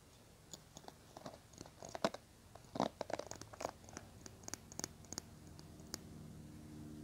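Fingernails scratch and tap along the handle and bristles of a small teal plastic hairbrush held in the hands. Quiet, irregular dry clicks and bright scratchy rustles come and go, with a faint low hum in the background that grows slightly toward the end.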